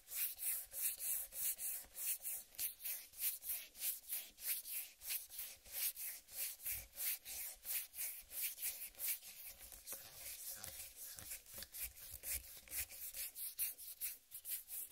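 Fingers with long red-painted nails rub and scratch the green striped rind of a large whole uncut watermelon. A steady run of quick, bright, hissing scratch strokes repeats throughout, with almost no low end, softening slightly in the middle before picking up again.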